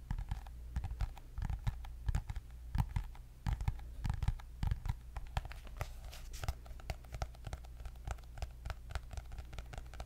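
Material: Cardboard.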